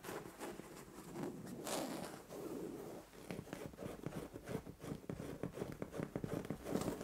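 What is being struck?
Padded fabric bed cover.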